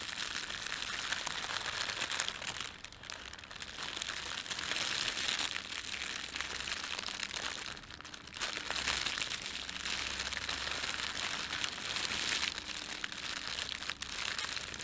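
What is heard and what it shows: Fingertips scrunch and rub a thin red printed plastic bread bag laid over a white plastic bag. A dense, bright, steady crinkling of film runs throughout, dipping briefly near 3 and 8 seconds.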